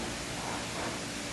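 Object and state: Nothing is struck.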